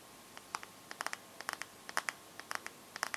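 Long painted nails tap and scratch the glass screen and metal edge of a bare smartphone. The result is a quiet, uneven series of short, crisp clicks with bright, high edges, each dying away almost at once.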